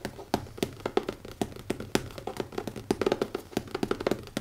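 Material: Leather.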